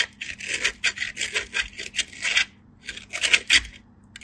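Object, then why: Bar soap on a steel grater. A hand-sized white bar of soap is rubbed back and forth across a small stainless steel hand grater, held by fingers with blue-painted nails. Bright, dry rasping scrapes come in a quick run of strokes, pause for a moment, then resume. Fine soap shavings pile up on a green surface below.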